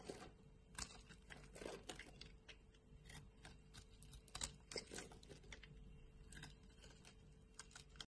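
A solid light-green bar of soap held in the hand is carved and scraped with a utility knife blade, sending strands and flakes falling off. The quiet clip is a run of short, dry, crisp scraping and crunching strokes with bright edges, some sharper cuts standing out, over a faint steady low hum.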